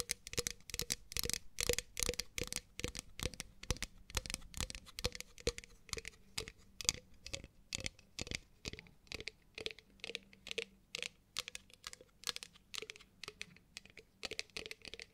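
Long nails tap and scratch rapidly and irregularly on the outer wall and rim of a hollow, pale pink matte ceramic mug with a handle, held in the hands. The taps are short, bright, dry clicks, mixed with crisp scratching and a faint low ring from the mug.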